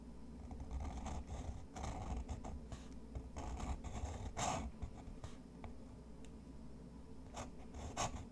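A fountain pen nib scratches short, quick hatching strokes across a sheet of thick, textured white watercolor paper resting on a wooden desk. Dry, papery scratches come in brief, uneven bursts with a mid-range rasp over a steady low background hum. A few sharper, brighter strokes stand out, the strongest near the middle and the end.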